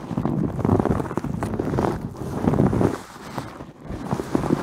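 Long nails scratch the surface of a white terry cloth towel wrapped around a fist-sized microphone head, padded over the solid mic. The scratching comes through as muffled, dull rustling and scraping in the low and middle range with almost no brightness. It rises and falls in uneven waves of rough, continuous friction.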